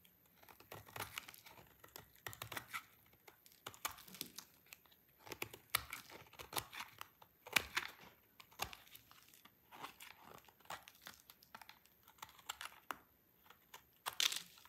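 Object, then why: Bar of soap shaved with a knife blade. A utility knife blade shaves a partly carved, solid, dry white soap bar, sending brittle flakes falling. It produces a quiet, irregular run of crisp, bright scraping and crunching strokes, each short and dry with almost no ring.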